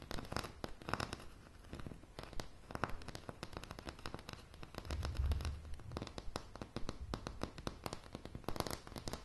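Long polished nails tap rapidly on a light, solid wooden plank floor up close, making many short, dry, clicking taps with almost no ring. A soft low thump swells briefly near the middle among the steady, uneven patter.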